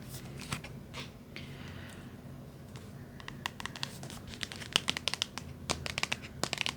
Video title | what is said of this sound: ASMR Trigger Assortment ~ tapping w/ wood, book, glass, necklace & heat pack sounds | a lot higher pitched than you might expect for a book. I thought might have more dense sound.